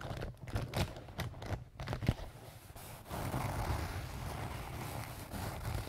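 A small pink-and-white leaf-print canvas zip pouch, soft-sided and apparently filled with marker pens, is scratched and rubbed with fingernails and fingertips. Short, separate scratchy strokes with a dull, low-heavy body come first, then at about three seconds they give way to a steadier, louder stretch of continuous rubbing and scratching.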